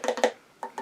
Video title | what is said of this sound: Limited Edition Glow in the Dark Eaglemoss XENOMORPH figure review | now it's made of like a cold cast resin so it sounds plastic and Hollow in spots